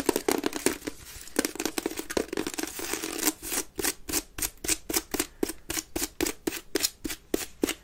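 Long nails scratch fast across the woven base and sides of a grey wicker waste bin held upside down, hollow and empty. A dense, bright, raspy scratching fills the first three seconds, then settles into regular, separate strokes with a hollow midrange tone and quick, dry stops.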